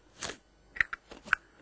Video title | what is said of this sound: Nest of Box by Mikame - magictricks.co.uk | 中でカラカラカラカラ音がしてるでしょ